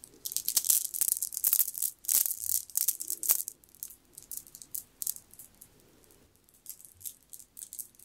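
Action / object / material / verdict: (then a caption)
shake / jade bead necklace / jade / none. A strand of solid green jade beads, piled in the palm, is rolled and shaken by the fingers so the stone beads rattle together. Dense bursts of bright, crisp clicking fill the first few seconds, then thin out into sparser, softer clicks and short rattles.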